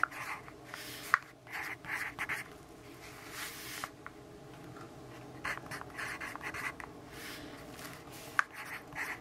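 The graphite tip of a yellow wooden pencil scratches across the page of a lined paper notebook on a table while writing, with the other hand resting on the paper. It makes quiet, dry, bright scratching strokes in short bursts, with a couple of sharp ticks and soft pauses between them.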